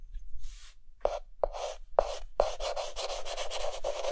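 A white chalk stick held in the fingertips rapidly hatches and fills in a mask drawing on a dark green chalkboard. A faint scrape is followed by four sharp, separate strokes with a gritty midrange tone, then dense, continuous scratching and rubbing with a bright hiss.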